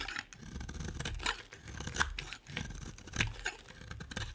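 A utility knife cuts and scrapes a solid white oval bar of soap, making dry, crunchy scraping strokes with sharp, bright clicks at the loudest cuts. The quiet, close sound has a low rumble underneath and brief gaps between strokes.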